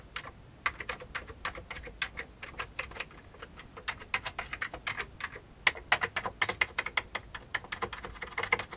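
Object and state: Plastic computer keyboard.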